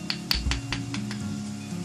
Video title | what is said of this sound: The Grungy Conclusion | it sounds like glass when you tap on it it's it's really hard